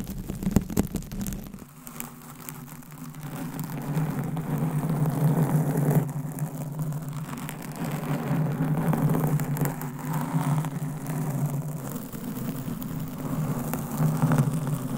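Long acrylic nails of both hands scratch and rub a large, soft, porous blue foam windscreen over a microphone, with other covered mics nearby left untouched. A few sharp crackling scratches open the clip, then it settles into a dense, muffled rustling and scraping that swells and fades in slow waves. The sound sits mostly in a low, boomy hum around 150–200 Hz with almost no bright top.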